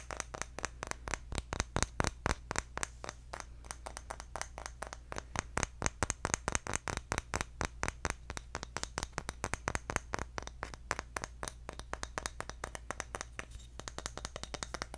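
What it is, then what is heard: Bamboo jar lid tapped. Fingertips rapidly tap a round, engraved, palm-sized bamboo jar lid held close, producing a fast, continuous stream of short, dry, clicky taps with bright edges and almost no ring. A steady low hum runs underneath the whole time.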